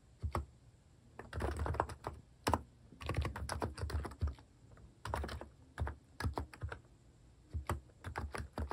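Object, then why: Plastic mechanical keyboard. Fingertips type at a moderate pace on a compact plastic mechanical keyboard fitted with cat keycaps, producing irregular bursts of short, dry clicks and clacks with low thocks underneath. Flurries of fast keystrokes alternate with brief pauses, and each press stops almost instantly.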